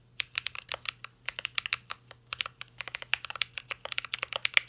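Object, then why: Mechanical keyboard with metal case and plastic keycaps. Both hands type continuously on a mint green Cyberboard R3 mechanical keyboard with a full-size hollow metal case, plastic keycaps and an LED matrix panel, resting on a desk. Rapid, uneven bursts of sharp, bright clacks follow one another with very short decay over a faint low hum.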